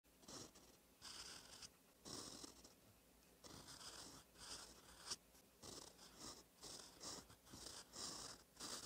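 A gold-toned metal fountain pen nib, held by the fingertips, scratches across a thin cream lined notebook page resting on a solid flat surface while writing cursive in ink. Quiet bursts of bright, dry scratching come stroke by stroke, separated by short pauses.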